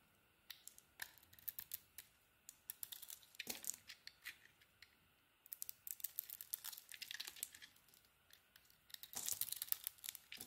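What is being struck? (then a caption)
Soap bar scraped with a small metal blade. A solid orange and green bar of soap, held in the hand, has its edges scraped and shaved with a small metal blade. The result is quiet, dry, crisp scratching and crackling, almost entirely high and bright with no low end, coming in clusters of short strokes. The busiest, loudest stretch of shaving comes near the end.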